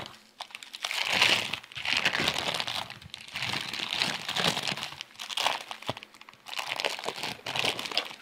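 Fingertips of both hands squeeze and rub a full, thin, clear plastic bag wrapped around a hand-sized rice roll (fan tuan), held above a plate of breakfast food. Dense, bright crinkling and crumpling comes in several swelling bursts with brief quieter gaps between them.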